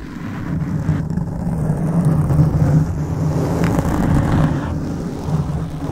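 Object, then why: Foam microphone windscreen. Fingertips of both hands scratch the top and sides of a black foam microphone windscreen. A steady, muffled scratching rumble is heard, with almost all of its energy low and booming and no bright edge.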